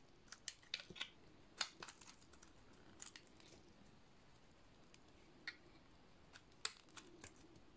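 A metal utility-knife blade shaves a solid white, studded bar of dry soap. Irregular, sharp, dry clicks and short crisp scrapes stand out against a quiet, faint hiss. The cuts are bright and die away almost instantly.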